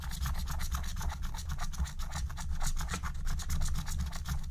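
A wooden stylus rubs and scratches the coating off a thin black-coated scratch-art card lying flat. Quick, rhythmic raspy strokes come in a steady run of bright, gritty bursts, layered over a constant low hum.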